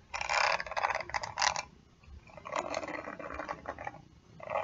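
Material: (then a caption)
Plastic. Long nails scratch and flick across the dense plastic/metal bristles of a round hairbrush held in one hand. Dry, bright, crackly bursts of rapid ticking come in uneven clusters, with a brief quieter pause midway before the scratching picks up again.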